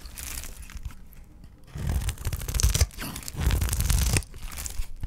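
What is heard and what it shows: A utility knife blade scrapes and shaves thin curls off the edge of a solid, hand-sized bar of dry green olive soap held in one hand. Light scraping at first gives way to two louder bursts of dense, rough tearing and crunching, heavy in low rumble with a bright, crisp edge. It then fades back to quieter scraping.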